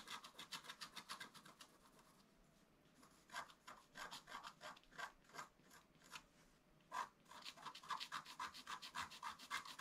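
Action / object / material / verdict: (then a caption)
scrape / black-coated scratch-art card scratched with a wooden stylus / coated paper / none. A wooden stylus scratches the coating of a flat black-coated scratch-art card in quick, rhythmic strokes, making dry, bright rasping sounds centered around 1 kHz. The scratching comes in fast bursts, with brief quiet pauses around the 2–3 second and 5–6 second marks before resuming steadily to the end.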